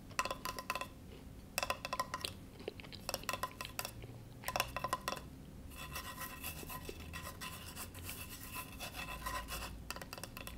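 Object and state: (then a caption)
Bamboo cutting board. Fingertips rub and scratch across the grained surface of a flat, solid, rectangular bamboo cutting board held on a lap. Short bursts of dry, bright scraping with a faint tonal edge near 1 kHz alternate with brief pauses, then become a longer, steady stretch of scratching.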